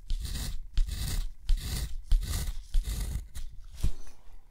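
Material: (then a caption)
Paper. A steel dip-pen nib scratches ink strokes across a sheet of thick, rough-textured white watercolor paper lying flat on a surface. Each stroke makes a raspy, bright scratching hiss with a soft low rumble underneath, repeating in an uneven rhythm with short pauses between bursts.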